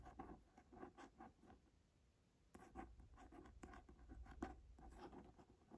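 A quiet run of short, papery scratches and muted taps, with a pause in the middle. Nothing rings; every touch dies within a blink. That dull, dry texture comes from nails dragging over the firm, embossed leather cover of an old hardback. A low hum sits underneath.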